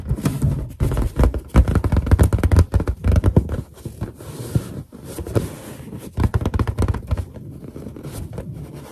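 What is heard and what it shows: Long nails tap and scratch on a large, hollow, inflated white latex balloon while fingertips press into its surface. Bursts of dull, low thumps and scrapes come irregularly, with quieter stretches of soft rubbing and scratching between them.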